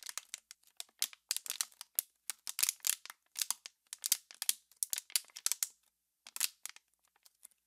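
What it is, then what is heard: Plastic water bottle being crinkled. An empty, hollow, clear PET water bottle is held in both hands just behind the mic while long pink nails and fingertips squeeze and crinkle its thin walls. The result is a rapid series of sharp, bright plastic crackles and crinkles with no low end. The crackles come in short bursts separated by brief silences, each dying away almost instantly.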